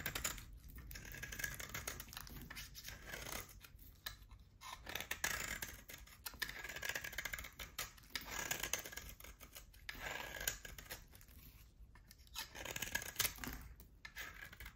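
A solid oval bar of hard soap, with a pale core and a black rim, is held in the hand and shaved with a utility knife. Bright, crisp scraping strokes come in repeated bursts, with short pauses between them.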